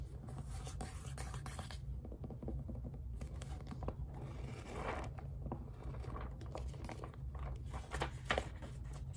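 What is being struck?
Paperback book with paper pages.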